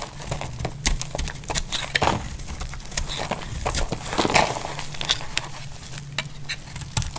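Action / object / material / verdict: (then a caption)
scrape / bar of soap cut with a blade / soap / none. A utility-knife blade cuts and shaves chunks and curls from the edge of a solid, dry pink bar of soap held in the hand. It makes a rapid run of crisp, dry clicks and scratchy crackles with bright high edges, over a steady low hum. Each cut snaps off short with almost no ring.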